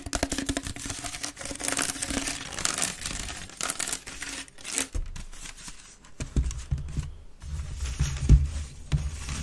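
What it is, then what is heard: Wicker basket bin being scratched. A grey woven wicker waste bin, held upright, hollow and empty, has its woven sides scratched fast with the long nails of both hands. Dense, rapid, dry crackling scratches run throughout, bright at first and then with a deeper, hollow low thump under them in the second half.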